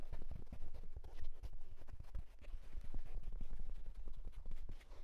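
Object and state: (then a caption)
Wool tweed fedora, hollow crown. Fingertips and short nails rapidly scratch and tap the crown of a hollow wool houndstooth tweed fedora hat. The result is a dense, continuous stream of soft, muffled thumps and fabric rustles, dull and low, with a quick dry decay and no ringing.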